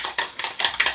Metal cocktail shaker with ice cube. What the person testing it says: you can hear it banging